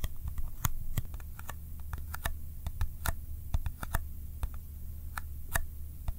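A small, empty-looking Kodak ColorPlus film box made of thin, hollow cardboard is held in one hand and tapped quickly with the fingertips in a sticky tapping style. The result is a rapid, irregular patter of short, crisp taps with a slightly tacky texture, heard over a steady low hum.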